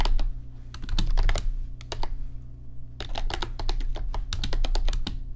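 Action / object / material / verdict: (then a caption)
tap / plastic computer keyboard keys / plastic / none. Fingertips type on an RGB backlit computer keyboard with plastic keys, producing quick runs of sharp, bright clicks in two bursts separated by a brief pause. A steady low hum sits beneath the tapping throughout.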